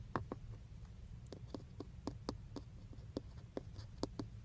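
Fingertips and short nails tap and scratch the textured black plastic airbag cover at the centre of a car steering wheel, just below the emblem; the cover is hollow over a padded module. Thirteen short, dry clicks with a bright edge sound over a steady low hum, each dying away almost at once.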